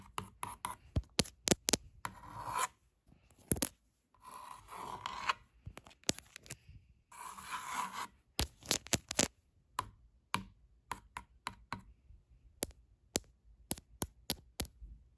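Long acrylic nails scratch and tap across a hanging piece of wall art: a pink-painted stretched canvas with black lettering, a flat panel that is hollow behind. Sharp, dry taps alternate with bursts of raspy scratching on the textured surface.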